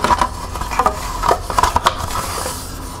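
Long nails tap the side and rim of a small, hollow, empty green plastic cup held in the hands. Nine quick, light clicks come in uneven bursts, each with a short hollow plastic ring around 1.1 kHz that dies away almost at once.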